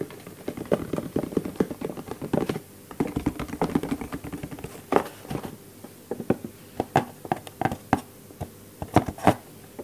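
Fingertips tap and scratch a small, empty, white cardboard product box that is hollow and open at one end and held in the other hand. Rapid, dense patter and scratching fill the first half, then sparser, distinct taps follow. Each tap is a short, hollow, papery knock centered in the low mids, with almost no ring.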